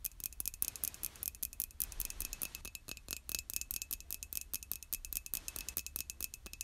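Long nails tap rapidly on the outer wall of a hollow white glazed ceramic mug, making quick, dry, bright clicks with almost no ring. The taps come in a steady, dense stream with a faint steady tone in the upper range, over a low background rumble.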